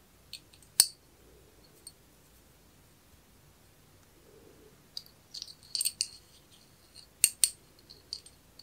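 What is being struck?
Small brass watch movement.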